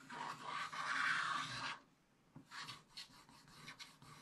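A wooden stylus scrapes vigorous strokes into the upper middle of a black-coated scratch-art paper page in a spiral book. A long, bright, rasping scrape runs for almost two seconds, then stops briefly. It is followed by a series of shorter, choppier scratching strokes.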